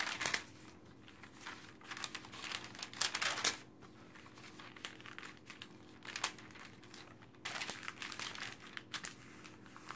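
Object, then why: Glossy paper magazine. An open glossy paper magazine lies flat on a table while hands with long dark nails turn its pages fast and rub them flat with the palm and fingertips. Quiet bursts of bright page rustling and crinkling come in quick, uneven clusters, with short swishes between them and almost no low end.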